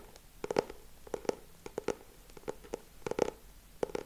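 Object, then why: Hardcover book with laminated board cover. Fingertips and short nails tap and scratch the solid back cover of a lilac hardcover notebook with a laminated cover, held upright. Quick, dry taps come in irregular clusters, each with a hollow tone around 465 Hz that dies away almost instantly. Faint scratching fills the gaps between them.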